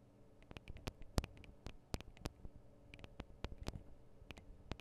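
Long acrylic nails tap on both small metal X/Y microphone capsules of a Tascam DR-40 recorder. Quick, dry clicks with bright top edges land in an irregular, patter-like rhythm over a low, muffled rumble. Each tap dies away almost instantly.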